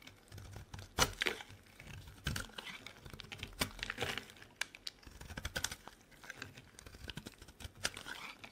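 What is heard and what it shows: A solid, dry, pale pink to lilac bar of soap is carved and scraped with a metal blade. Crisp, bright scraping and crackling come in short, irregular bursts with quick sharp snaps, the loudest near 1, 2.3 and 4 seconds. Each cut dies away almost instantly against a quiet background.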